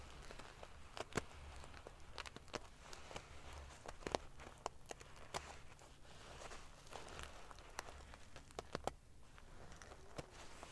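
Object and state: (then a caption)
Metal-sequin pillow being ruffled. Fingertips and nails ruffle a large padded pillow covered in rows of silver metal sequin pieces. Quiet, dense rustling is broken by many sharp, bright clicks and crinkles, over a steady low hum.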